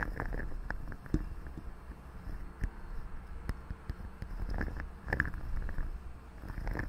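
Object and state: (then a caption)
Metal microphone mesh grille being scratched. Long fingernails scratch and rub the hollow metal mesh grille of a large silver condenser microphone from both sides. The result is a dense, low rumbling scrape dotted with sharp, brief ticks and faint ringing metallic clicks around 1.7 kHz.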